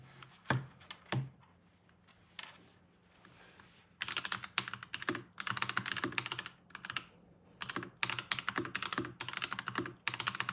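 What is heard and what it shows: A full-size Varmilo VBS108 mechanical keyboard with Kailh crane switches, a solid body and cream-and-teal plastic keycaps with a crane design, sits on a desk mat while both hands type rapidly on the keys with their fingertips. A few isolated bright clacks come first, then from about four seconds dense bursts of fast, crisp key strikes with short breaks between them. Each click is sharp and dies away almost instantly.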